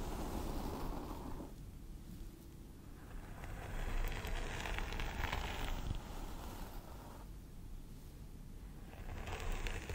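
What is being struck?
Plastic doll head with synthetic hair.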